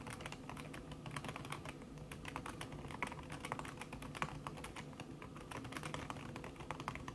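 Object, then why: Laptop keyboard with silicone key cover. Fast tapping on a backlit laptop keyboard in a silver aluminum body, its keys covered by a thin red silicone skin, typed by fingertips with long red nails. A steady stream of soft, muffled key clicks runs throughout with short, dull decays and a faint low hum underneath.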